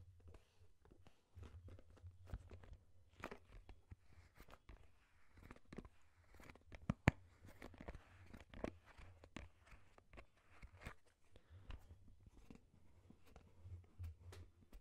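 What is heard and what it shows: A large white plastic Lubriderm lotion bottle with a pink pump top, hollow and apparently filled with lotion, is held in both hands close to the microphone and tapped and rubbed with the fingertips. Quiet, dull, irregular taps mix with soft crinkly rubbing over a steady low hum, with one sharper, louder tap standing out midway.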